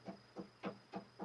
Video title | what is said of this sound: Let's Recap The Evening | you hear how solid that is that plinth is made of corian